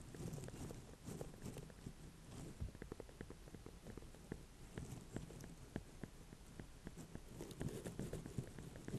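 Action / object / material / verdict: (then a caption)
tap / small ornamental pumpkin with firm rind / pumpkin rind / none. A small ribbed orange-and-cream ornamental pumpkin with a firm rind is held, turned in the hands and tapped with long nails. Quiet, dull, low knocks with very short ring come in quick, uneven bursts over a soft rustling bed.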